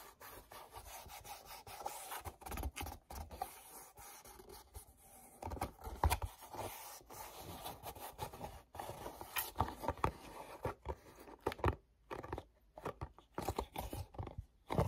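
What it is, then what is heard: Cardboard box, rubbed and scratched. Fingertips rub and scratch quickly across the glossy back panel of a small, hollow, printed paperboard mochi box. The result is a dense, dry, continuous rubbing and scraping texture with quick scratchy bursts and brief louder flicks. It sits at a soft level with a fair amount of low-end body.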